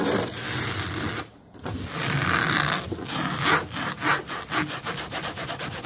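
Fingernails on both hands scratch the black fabric-covered back of a foam booster car seat, which sits above a pebbled foam base. The result is a dry, bright, rasping scratch that runs steadily and pauses briefly. It then returns as quicker, separate rubbing strokes.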